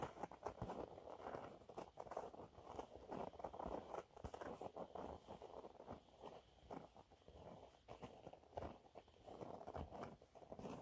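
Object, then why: Cellulose sponge cloth. Fingernails scratch a thin, flat, yellow textured cellulose sponge cloth. The result is a quiet, dry, scratchy rustle of rapid, short strokes, centered in the low-mid range with little bass or brightness.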